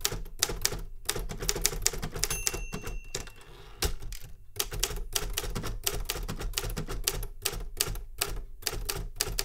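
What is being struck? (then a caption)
Metal manual typewriter keys. A Remington Super Riter metal manual typewriter is typed on with fingertips, giving a steady run of sharp, bright key strikes with low thumps beneath. The typing briefly eases into a quieter stretch with faint high tones around the middle, pauses for a moment, then resumes its rapid clatter to the end.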